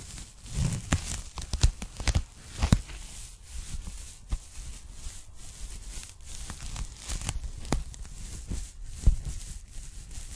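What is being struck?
Polyethylene foam packing bag.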